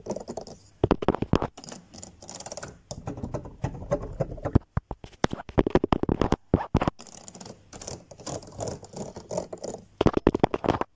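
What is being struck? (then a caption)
Plastic keys of a digital piano. Fingertips and nails tap quickly on the white and black plastic keys of a digital piano keyboard, with no notes sounding. The result is a dense, dry, typing-like patter of short clicks and thumps in uneven bursts with brief pauses.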